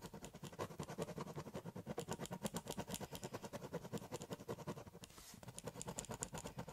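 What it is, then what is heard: Pen scribbling on a cardboard box. A ballpoint pen tip scribbles densely across the surface of a large, empty, hollow corrugated cardboard shipping box. About 37 quick, rhythmic scratching strokes sound with a low hollow body resonance beneath a bright papery rasp, broken by a brief smoother glide near the five-second mark before the steady scribbling resumes.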